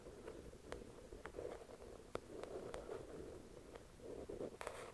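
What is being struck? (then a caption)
Paperback book with card cover. Long acrylic nails scratch and tap the cover of a thick paperback novel resting on a white cloth. Soft, steady scratching hisses in the midrange, broken by sharp, brief taps that click brightly and fade instantly.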